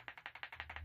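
An electrolytic capacitor is shaken, producing nine quick, dry rattling clicks centered around 2 kHz as something loose inside knocks about. The capacitor is faulty: it dropped to 600 mV overnight while the others held 3.1 V, and the equipment it came from was malfunctioning.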